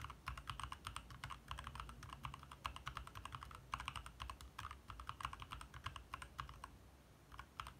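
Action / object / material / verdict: tap / plastic mechanical keyboard / plastic / none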